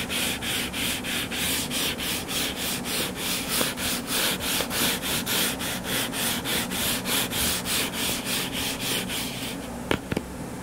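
Fingertips and nails scratch and rub back and forth across the cover of a solid, purple-covered paperback book lying flat, making a steady, rhythmic rasp of bright, papery strokes. Near the end the rubbing fades into a softer hiss, broken by a few sharp clicks.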